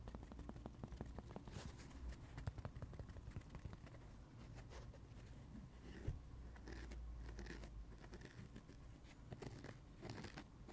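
Fingertips scratch and rub the blue porous cellulose side of a dry kids' sponge with a yellow foam layer on the other side, held in the hands. The result is a quiet, steady run of soft, dense crackling scratches over a low rumble, with a few brief louder rasps.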